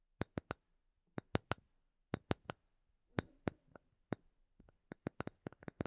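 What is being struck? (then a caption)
Small wooden block. A small, solid, light wooden block held in both hands is tapped with long painted nails. Nineteen sharp, very short, bright clicks come in quick irregular clusters separated by brief silences. The taps are quiet and die away almost instantly.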